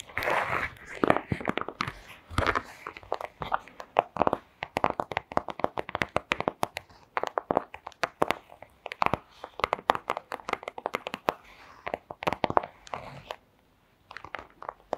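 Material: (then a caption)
Plastic. A thin, transparent printed plastic pouch lying on a rug is tapped and scratched with long acrylic nails. The result is a dense stream of sharp, crinkly clicks and scratches with bright crackle and almost no low end, each sound stopping instantly.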